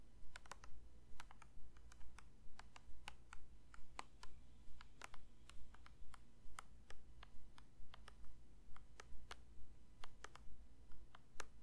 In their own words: 8:08 Plastic lotion bottle tapping